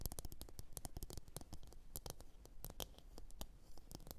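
Long orange nails tap and scratch a medium, glossy blue ceramic bowl that sits hollow, empty and upside down on a fur mat. The taps come as a quick, uneven run of short, bright clicks with a soft, low thud beneath them, and each one dies away almost at once. Light scratching fills the gaps between taps.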